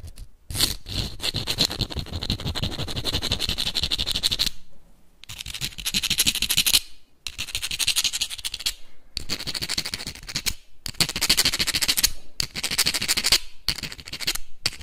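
Small clam shells held in both hands are scraped and tapped together and scratched with the fingernails. The result is dense bursts of rapid, bright, crackling clicks and scrapes with a high, gritty sheen over a faint low thump. The bursts are separated by several brief pauses.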